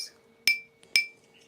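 A 3D printed part made from a stiff, metal-like specialty filament costing about $140 per kilogram is flicked twice. Each flick gives a bright, high-pitched ting centered near 2.3 kHz with a short ring. It sounds like metal rather than standard filament.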